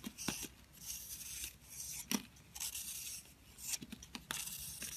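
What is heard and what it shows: A box-cutter blade repeatedly scrapes the crumbly starch crust off a green-blue, egg-shaped solid soap bar held in the palm. The scrapes make bright, dry rasping strokes broken by sharp clicks as pieces of crust break away.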